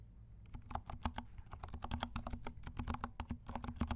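Fingertips of both hands type on a compact 68-key mechanical keyboard with dark plastic keycaps and silent switches. After a brief quiet start, a rapid stream of soft, muffled keystrokes follows, each a dull low-heavy tap with almost no ring.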